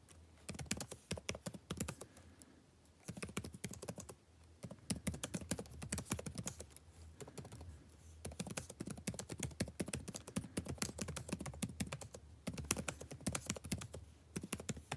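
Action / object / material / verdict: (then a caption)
tap / laptop keyboard with plastic keys / plastic / none. Fingertips type continuously on a backlit laptop keyboard with plastic keys, making quick, soft clicky taps that come in bursts separated by brief pauses. A faint, steady low hum sits beneath the tapping throughout.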